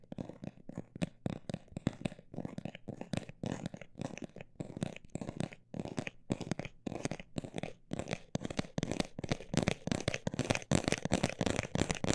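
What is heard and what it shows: A textured cosmetic bag is tapped in a long run of quick, dry taps with a soft crinkly texture, mostly in the low and middle range. The taps come in uneven fast and slower bursts with no ring after each one, and they grow somewhat louder and denser toward the end.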